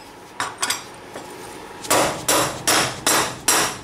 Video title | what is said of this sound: Banshee wheel bearing, brake discs,A arm bushing and steering stem bearing/seal removal (Video 6) | You hear that solid hit? That means it's all the way in.